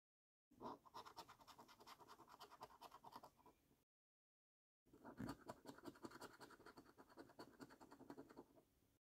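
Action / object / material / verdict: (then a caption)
scrape / coin on paper scratch card with latex coating / paper / none. A coin scrapes the latex coating off the symbol boxes of a flat, thin cardboard £15 National Lottery "5x £300,000 Luxury Lines" paper scratch card held by fingertips. Two bursts of rapid, rasping scratch strokes are separated by a short silence, with a dry, gritty texture that extends up into bright, high frequencies.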